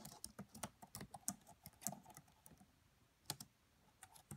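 Both hands type with fingertips and long French-manicured nails on the black plastic chiclet keys of a red laptop with a hollow body. The result is a quiet, irregular run of short, dry key taps, each a bright click over a low hollow thud that dies away almost instantly, with a brief lull before a few final taps.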